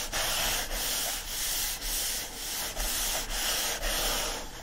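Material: Paper.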